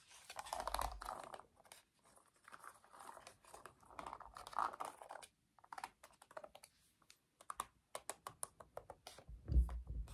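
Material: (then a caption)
Plastic. A black plastic TV remote control with rubber buttons is handled by its back, giving soft scratching and rustling. Its buttons are then pressed repeatedly with the fingertips, producing a run of quick, dry, sharp clicks with a low thump near the end.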